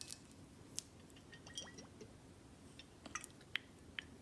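A full dark glass Buchanan's whisky bottle is held in hand and tilted while long acrylic nails tap the glass, the neck and the back label. Sharp, bright clicks and clinks ring briefly at about 2 kHz over a low hiss, alongside a few soft squishy liquid sounds and short rising sweeps.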